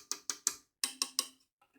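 A plastic part of a microphone boom arm is tapped six times, in two groups of three separated by a short pause. Each tap is a short, bright, high-pitched tick with almost no low end and a very quick decay, followed by a couple of faint small knocks at the end.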